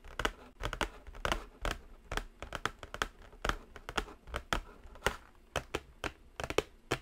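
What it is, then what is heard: Cardboard palette box tapped and scratched. Long nails tap and scratch across the top and edge of a white, flat cardboard Jaclyn Hill Morphe eyeshadow palette box. A steady run of short, dry clicks follows, mixed with brief papery scratches and no ringing afterward.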